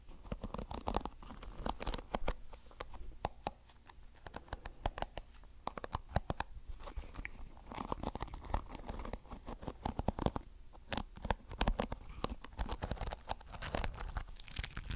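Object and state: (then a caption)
Plastic hairbrush bristles being strummed. Fingertips strum and scratch the flexible colored plastic bristles of a small blue plastic hairbrush held close to the mic. The result is a dense, uneven patter of quick, dry ticks and scratchy rasps over a low rumble, with brief pauses between bursts.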